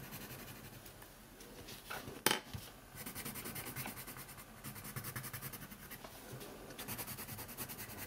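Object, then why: Paper sheet on a wooden table, scratched by a colored pencil. A colored pencil held in the fingers is rubbed and scratched quickly across a thin printed coloring sheet lying on a wooden table. Steady, bright, papery scratching comes in rapid rhythmic strokes, broken by one sharp, louder tick a little past two seconds. The scratching then continues at an even pace to the end.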